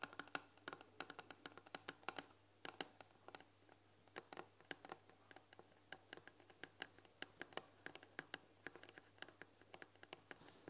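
Long nails tap and scratch on the front panel of a white painted wooden tea box with a glass lid and tea packets inside. Quick, dry, bright clicks come in a steady irregular patter with soft scratching between them, each tap dying away almost at once, over a faint low hum.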